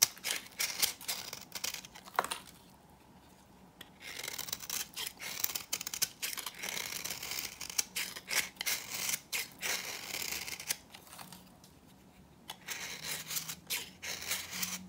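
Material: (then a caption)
Soap. A knife blade scrapes and cuts flakes and powder off a hand-held, solid, dry green bar of soap. The result is a rapid series of crisp, bright, dry scraping strokes with a powdery crackle, pausing briefly at a few points.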